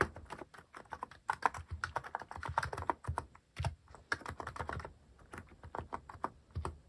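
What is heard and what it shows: Fingertips type quickly and steadily on a Hanmumu mechanical keyboard fitted with plastic cat-shaped keycaps. The result is a dense run of short, dry clacks with a mid-pitched tone and a soft low thud, each keystroke dying away almost instantly.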